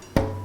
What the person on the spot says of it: You take that piece of wood and you tap it, and you listen to the sound of the resonance